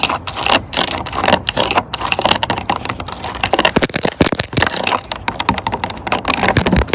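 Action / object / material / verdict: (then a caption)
tap / plastic water bottle / plastic / none. Long orange acrylic nails tap and scratch rapidly along the ridged sides of a clear, hollow plastic water bottle full of water, lying on a wooden bench. The result is a dense, continuous stream of sharp, bright clicks and crackly scrapes that stop almost instantly, with a hollow plastic tone underneath.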